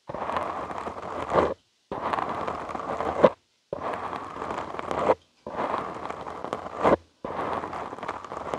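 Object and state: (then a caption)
Foam microphone windscreen being scratched. Short fingernails and fingertips scratch a soft, porous black foam windscreen on a studio microphone. There are five bursts of dense, crackling scratching, split by brief silences. Each burst swells to a sharper rasp just before it stops.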